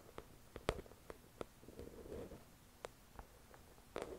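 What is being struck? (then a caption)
Paperback book with glossy cover. Long acrylic nails tap the glossy cover of a thick paperback novel resting on a white cloth. About nine quiet, dry, short taps are scattered irregularly, with a soft brushing scratch between them.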